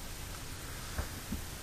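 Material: Nothing is struck.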